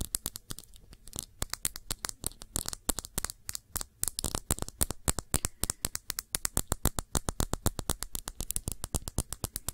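A small glass perfume bottle filled with blue liquid is turned in the hand while long nails tap its base and sides. The result is a fast, uneven stream of short, bright clicks with quick decays and a faint low rumble underneath.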